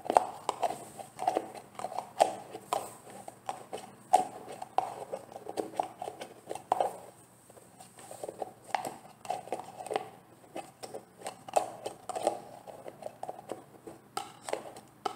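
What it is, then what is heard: Plastic gel jar. Long painted nails tap a large, full-looking green translucent plastic jar of olive oil styling gel on its sides and lid. The result is a quick stream of light, dry clicks and taps with a mid-pitched hollow tone around 750 Hz, each dying away almost instantly, with a brief quieter pause in the middle.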